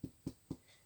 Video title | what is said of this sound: Walnut & Rosemary Soda Bread | when I turn it and tap it it sounds Hollow so it's perfectly done